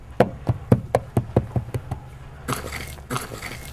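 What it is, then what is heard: Hollow buried wooden box. Nine quick, dull knocks strike a buried wooden box, each low and hollow with almost no ring, followed by bursts of broad scraping, rustling noise. The box is lifted open by its lid, confirming it is a hollow wooden container.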